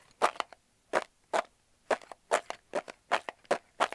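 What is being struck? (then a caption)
Cardboard tube. Fingertips and nails rapidly tap and scratch the side of a large, hollow, closed brown kraft cardboard tube held in the hands. Quick clusters of dry, papery taps and scrapes come in an uneven rhythm, centered in the midrange around 1.2 kHz, with no low end and almost no ring after each hit.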